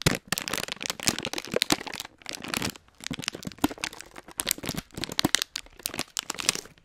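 A full, hand-sized Hot Nuts plastic foil snack bag is crinkled and squeezed with the fingers around the microphone. Dense, bright crackling and crinkling comes in rapid bursts, with brief quieter pauses between squeezes.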